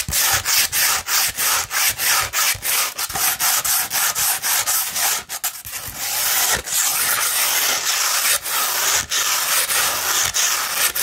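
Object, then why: Curled sheet of fine sandpaper scratched by fingernails. Long red nails scratch a 240 grit sandpaper sheet curved into a tube. Quick, rhythmic, gritty strokes with a bright, hissy texture soon blur into a denser, nearly continuous scratching with only occasional brief breaks.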